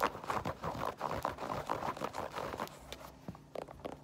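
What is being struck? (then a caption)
Mesh and foam sneaker. Long nails tap and scratch the white mesh fabric upper of an empty white Adidas mesh-and-foam sneaker in quick, uneven soft clicks with a rustling scrape. The sneaker's rubber/foam tread sole is then turned up and tapped with fewer, duller taps that fade to near quiet.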